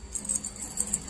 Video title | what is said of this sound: REFRIGERATOR WALANG LAMIG COMPRESSOR SOBRANG INIT ANONG DAHILAN? | pag inalog mong ganyan, yung parang kala mo may mga buhangin sa loob, yung parang magalasgas. Ibig sabihin nagkandadurog na yung laman niya sa loob.